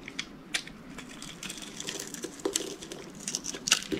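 A utility knife scrapes thin curls and shavings off the surface of a solid, hand-sized green bar of dry soap held in one hand. The scraping makes a dry, crackly stream of bright, rasping ticks and crunches with sharper snaps scattered throughout, each dying away almost instantly.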